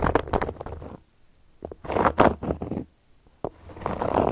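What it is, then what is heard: Cork coaster being scratched. A solid, round, flat cork coaster is scratched and traced with a carving tool held in a hand with long yellow nails. Bursts of dry, papery scratching and scraping come in uneven clusters, separated by near-silent pauses. A sharp click near the end leads into a longer, steadier scraping stroke.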